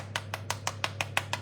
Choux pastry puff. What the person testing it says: on entend bien que c'est bien cuit